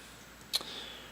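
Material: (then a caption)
Plastic. A McGard tailgate lock housing, made of fiber-impregnated plastic rather than aluminum or pot metal, is tapped with a metal item. One short, dull click sounds, with no tinny metallic ring. It sounds like plastic, and the housing is not magnetic.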